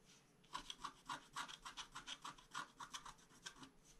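A wooden stylus scratches the upper dragon wing on a flat scratch-art card page, making a quiet run of short, dry scraping strokes at an uneven pace of about three per second. Each stroke has a rasping midrange tone and a bright, hissy edge, with almost no low end.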